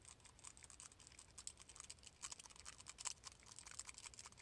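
A small, palm-sized silver metal Death Star sphere is tapped quickly with fingertips and nails. This produces a rapid, uneven patter of bright, dry clicks that ring briefly, with most of the energy high up.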